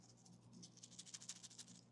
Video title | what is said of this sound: Smoked Beef Birria Tacos! - Oklahoma Joe Bronco Pro Series | you shake them you can kind of hear